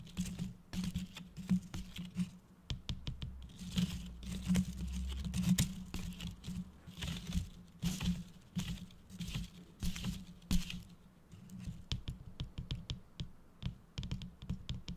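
Fingertips tap, stroke and scratch the stiff loops of a gold holographic foil bow on a red tinsel gift-box decoration. Rapid, dry crinkling taps and brief scratchy rustles come in irregular bursts over a steady low hum.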